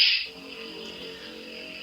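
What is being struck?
Nothing is struck.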